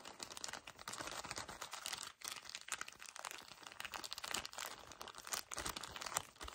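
A full pocket pack of paper tissues wrapped in thin plastic is gripped and crinkled quickly by fingertips. It makes a dense, continuous crackle of bright plastic crinkling with little low end, and a brief pause partway through.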